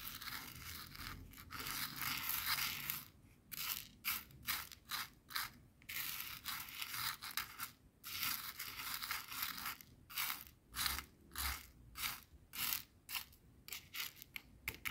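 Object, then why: Coarse salt crystals on a plastic cutting board. A thin wooden skewer, held by a hand with long nails, stirs and scratches a small pile of clear, coarse bath salt grains on a white plastic cutting board; at the end the hand pushes the grains directly. The sound is a bright, gritty crunching and scraping, steady for the first few seconds and then breaking into quick, rhythmic bursts separated by short silences.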